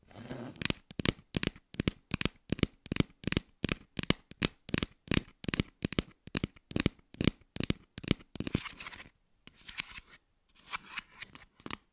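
Plastic toy fruit is tapped in a quick, steady rhythm, giving crisp, dry clicks with a bright, slightly scratchy edge and almost no ring. After about nine seconds the taps give way to softer scratching and rustling bursts, ending with a final tap.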